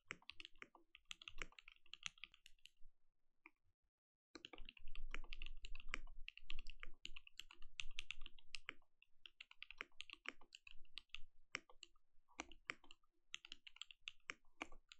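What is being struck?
Mechanical keyboard with plastic keycaps.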